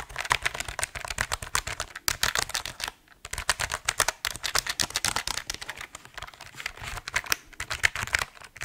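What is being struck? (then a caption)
Mechanical keyboard, plastic keycaps on aluminum plate. An RGB mechanical keyboard with plastic keycaps on an aluminum plate is held tilted slightly while fingertips type across the keys. The result is a steady run of quick, bright, clacky keystrokes with very little low end, broken by brief pauses near 3 and 4 seconds.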